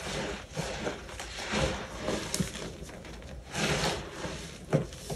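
Two bare hands with short painted nails crush, squeeze and rub loose, clumpy white baking soda in a large clear plastic tub, letting the crumbly powder fall through the fingers. A steady soft gritty rustle rises into several crunchy bursts, with a few sharper crisp snaps standing out.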